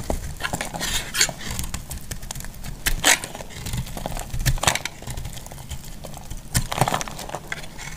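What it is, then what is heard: Dry bar soap being shaved. A solid, hand-sized yellow Clinico bar soap is held in the hand and shaved into crumbly chunks with a utility knife blade. Dense, rapid scraping and crumbling crackles are heard, with bright, dry snaps standing out. No verdict on the soap is given.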